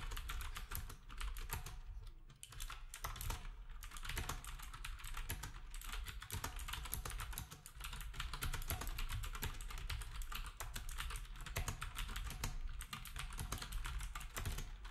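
Fingertips of both hands type steadily on a black typewriter-style retro keyboard with round plastic keycaps. The result is a dense, continuous run of bright, crisp plastic clicks over a low, thumping body, with each keystroke dying away quickly.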